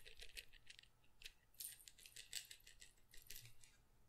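A small glass pepper grinder jar with a plastic cap, partly full of peppercorns, is moved around close to the mic and shaken by hand so the peppercorns rattle. The result is a quiet series of bright, crisp clicks and rattles with very short ring, over a faint low hum.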